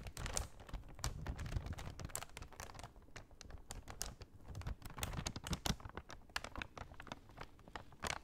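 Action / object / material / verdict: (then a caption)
tap / kraft paper bag / paper / none. Long nails tap rapidly across the surface of a large, empty brown kraft paper shopping bag held upright. The result is a dense, irregular stream of short, dry taps and crinkles, with bright clicky edges over a soft low rustle.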